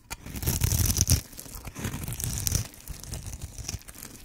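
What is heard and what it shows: A metal blade carves and scrapes cubes off one end of a green and white striped solid bar of dry soap held in the hand. Dry, crunchy scraping and crumbly tearing strokes come in quick, uneven succession, with a deep body and bright crackle on top. The strongest cuts come in the first second, then the scraping continues more softly.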